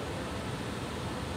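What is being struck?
Nothing is struck.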